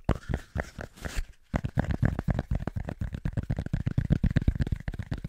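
A small, thick, round cork coaster is held between both hands and tapped quickly with the fingertips. It makes a fast, loosely rhythmic run of dull, low, muffled thumps with almost no ring and no bright edge. There is a brief pause about a second in, then the tapping continues steadily.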